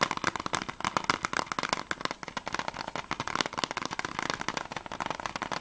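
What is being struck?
Closed plastic game case.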